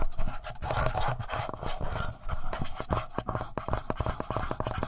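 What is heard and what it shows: Fingertips rub and scrape across the upper front of a handheld black plastic Tascam audio recorder. The result is a close, continuous scratching texture of quick, dry strokes that grows more rapid and ticking toward the end, with a heavy low thump underneath and little high content.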